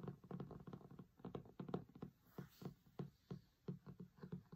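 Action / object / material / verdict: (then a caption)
tap / linen cloth-covered hardcover book / linen cloth / none. Fingertips with short nails tap and scratch the grey linen cloth cover of a large, closed hardcover cookbook with a printed photo, lying flat on a marble table. The quick, soft, dull taps come in uneven clusters with faint scratching between them. Each tap has a low, muffled body and dies away almost at once.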